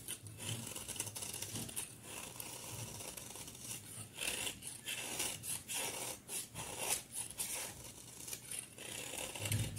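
A utility knife blade shaves and scrapes a hand-sized, solid cream bar of soap held in a hand with long painted nails, peeling off flakes. Dry, bright scraping and crisp shaving strokes repeat unevenly throughout, some short and some drawn out, with soft low thuds under them.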